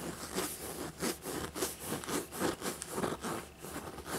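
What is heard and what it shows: Fingertips and nails rub and scratch the embossed surface of a small, hollow, black textured faux leather dragon backpack with bat-wing detail. The result is a series of short, scratchy, rasping bursts with a low-mid body and a bright hissy edge, separated by quieter gaps, with almost no ring after each stroke.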